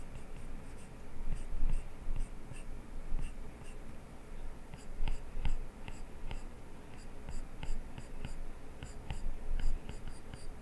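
A plastic stylus tip scratches and taps across the glass touchscreen of an iPad lying flat on a desk while sketching, with the other hand resting on the screen. The result is a quiet, low, rough scratching texture broken by short, bright clicking taps throughout.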